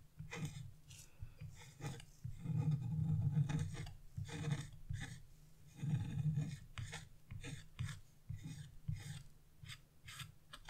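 A small wood-handled carving chisel, held in fingers with blue nails, scratches the black coating off a flat scratch-off art paper page lying on a wooden table. Uneven, rasping scrape strokes come in bursts of varying length and loudness, mostly low and dull with faint bright grit on each stroke.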